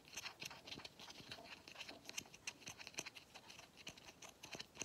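Fingernails scratch across the pleats and the grey end cap of a hollow pleated paper vacuum cleaner filter. The result is a quiet, bright, dry scratching made of rapid, closely spaced ticks and rasps with almost no low end and no ring.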